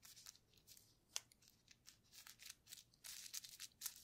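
A paintbrush loaded with purple paint is dabbed and rubbed over a clear plastic bubble wrap sheet with air-filled bubbles. The result is a quiet series of soft, bright, crackling swishes and brushy scrapes, with almost no low end. One sharper tick stands out just after the first second.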